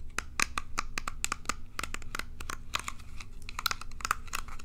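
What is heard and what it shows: Long nails scratch and strum the bristles of a small plastic pin hairbrush held close to the mic, producing a rapid run of dry, crisp ticks and clicks. The sharp, bright clicks die away almost instantly over a steady low background rumble.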